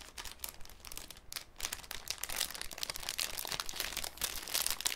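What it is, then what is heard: Cellophane sheet being crinkled. A thin, clear cellophane sheet held in both hands is scrunched and crinkled with the fingers. It makes a dense, continuous stream of bright, crisp crackles that rise and fall in loudness, over a faint low hum.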